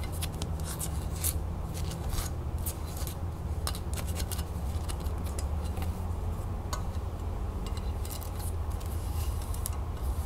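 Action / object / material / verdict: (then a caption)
tap / small metal crown lid with jewels / metal / none. Long nails tap and scratch the metal band and arches of a small, hollow, jeweled metal crown lid held in the palm. Quick, bright ticks and scratchy rasps repeat over a steady low hum.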